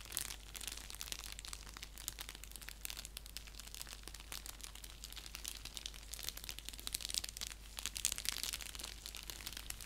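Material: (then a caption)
Paper. Fingertips and nails scratch an orange padded paper mailer envelope lying flat, making a dense, quiet run of crisp, bright crinkling and scratching. A steady low hum runs underneath throughout.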